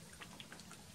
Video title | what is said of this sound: 2 Easy Ways to Fix Thick Cloudy Crystallized Bone Dry UV Resin #PiscatorFlies | you'd shake it up you can hear the liquid in there